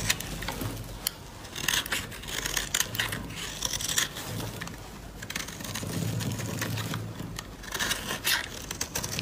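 A metal utility blade scrapes and carves shavings from the faceted surface of a solid, palm-sized pink dry soap bar. Dense, bright scraping and crisp crackling come in short bursts over a steady low hum.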